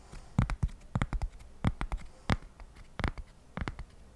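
A single flat, solid square cork coaster, held by hand near the microphone, is scratched with fingertips and nails in quick strokes. About sixteen short, dry, separate scrapes come in uneven clusters, each a soft low thump with a brief bright rasp and almost no ring.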